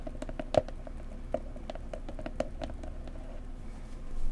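A pretty blue decorative box is tapped gently up close with fingertips, giving a quick patter of soft, dry taps with a faint mid-pitched knock around 600 Hz. Each tap dies away almost instantly over a low background rumble, with a few taps landing louder than the rest and the level swelling slightly at the end.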